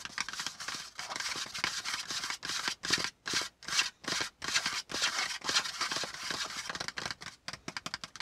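A flat piece of brown kraft cardboard folder lying on a notebook is tapped and lightly scratched by both hands with short-nailed fingertips. The result is a quick, irregular run of dry, papery scratching bursts with brief gaps between them. The sound is bright and hissy, sits almost entirely in the high range and has very little low end.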